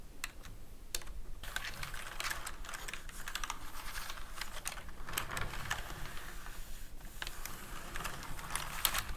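A black plastic full-size computer keyboard with hollow key caps is typed on with fingertips and short painted nails. Rapid, irregular key presses and taps give crisp, bright clicks over a soft low rumble, each click dying away almost at once.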